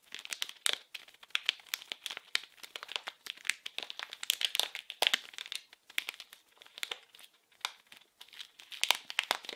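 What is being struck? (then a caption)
Plastic-film wrapped package. A small blue printed plastic-film wrapped package is squeezed and crinkled with fingers and nails. The result is a dense, continuous run of sharp, bright crackles that die out almost instantly, with most energy high and concentrated around 3 kHz and no low end.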